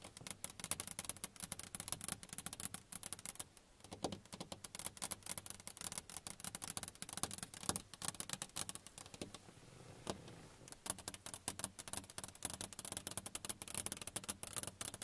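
Long nails of both hands tap rapidly on a car side window, a flat sheet of glass. The taps are dense, crisp, high clicks with almost no ring, in a steady patter with brief lulls near 4 and 10 seconds.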